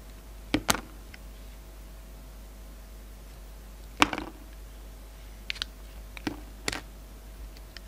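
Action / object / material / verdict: scrape / bar of soap / soap / none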